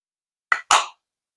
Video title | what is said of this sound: Haul shein ☆12 Calendrier de l'avent Perso #blabla #haul #haulshein #shein #sheinforall | ça fait un bruit sourd un bruit mat